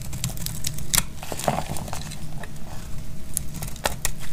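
A solid rectangular bar of dried purple soap is held in the hand and sliced with a snap-off metal blade. Curls of soap break off with a run of dry, bright crackles and sharp ticks over a low, steady rumble.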